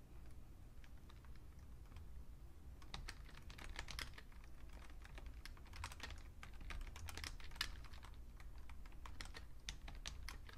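Two hands type with their fingertips on a vintage beige plastic full-size Fujitsu Siemens computer keyboard. Sparse keystrokes over the first few seconds give way to dense, rapid typing. The short, bright plastic clicks die away almost instantly over a steady low background rumble.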